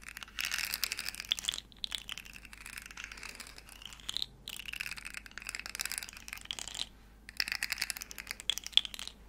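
A small hollow rainbow plastic segmented slug fidget toy is held in the hands, its segments flexed and clicked while long nails tap and scratch it close to the mic. The result is a dense run of dry, bright crinkling clicks and scratches in bursts with short pauses, almost no low end and no ringing.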